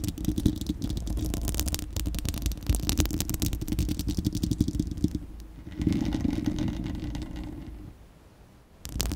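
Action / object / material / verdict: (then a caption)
scrape / steel mesh microphone grille / steel mesh / none. Long acrylic nails scratch and tap a bare, round, hollow-dome steel-mesh microphone grille, producing a dense, rapid scraping and clicking with a heavy, boomy low end. The activity is busiest for the first five seconds, dips briefly, surges again near six seconds, then tapers to near silence before a short final burst.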